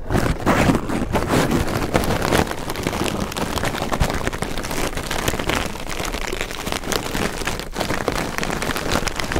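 A loose, light pile of red crinkle-cut shredded paper packing filler is pressed and pushed by two pencil microphones. It produces a dense, continuous rustling crinkle with crisp crackles throughout, at a fairly steady level with a soft low rumble underneath.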